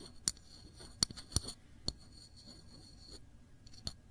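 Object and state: Glass jam jar tapped with a fingernail.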